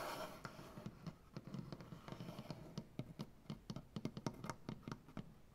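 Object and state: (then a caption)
Maple butcher block tabletop. Long nails on both hands scratch and tap across a solid maple butcher block tabletop. A soft scratchy wash at the start gives way to a quick run of about two dozen dry, low wooden knocks with brief bright clicks. Each knock dies away almost at once.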